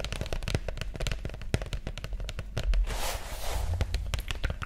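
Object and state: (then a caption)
Cardboard document folder. A flat green pressboard document folder with an elastic band, held close to the mic, is tapped and scratched with long nails. Rapid, dense clicks and taps dominate, with a low thumpy body. Around the middle there is a brief brighter scratching stretch before the tapping resumes.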